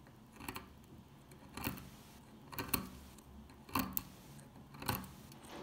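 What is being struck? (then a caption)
Bar of soap scraped with a metal pick. An old, solid, dry dark green soap bar held in the fingers has flakes scraped and picked off it with a metal pick. Five short, dry, crunchy scraping bursts come about once a second with bright, crackly detail, each fading quickly into quiet.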